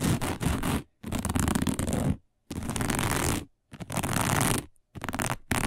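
Long nails of both hands scratch fast and hard across a round, dark, coiled woven fiber placemat. The result is dense, rough scratching noise with a heavy low rumble, coming in bursts of about a second separated by brief silences.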